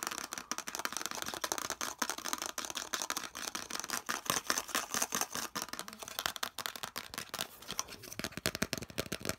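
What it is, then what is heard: Molded plastic part tapped with fingernails. A hollow molded yellow plastic piece is held in both hands while fingernails tap rapidly along its edges and surface. The result is a fast, dense stream of bright, dry plastic clicks and ticks with almost no ring and very little low end.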